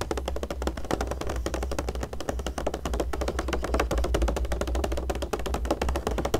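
Long nails and fingertips tap quickly and continuously on the coated pages of an open glossy magazine showing a Tiffany ad, with the hand lifting a page at times. The short, dry clicks come in a dense, fast stream over a steady low hum.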